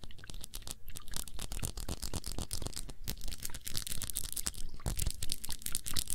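A round glass perfume bottle with a blue cap, filled with blue liquid, is tapped rapidly with long nails. The result is a dense, irregular stream of crisp, bright clicks and ticks over a faint low rumble.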